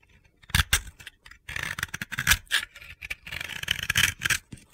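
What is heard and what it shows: A utility knife blade scrapes the flat cut face of a solid, powdery, white round bath bomb held in the hand, and powder falls off. Short, bright, gritty scraping strokes come in uneven bursts, some separated by brief pauses.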